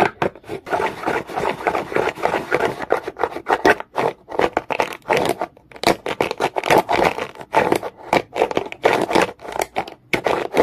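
A comb is scraped fast and aggressively across a solid, dark, rough rock. It makes a rapid run of dry, gritty scratching strokes, centred in the mids with a bright raspy edge. The strokes come in quick bursts separated by brief pauses.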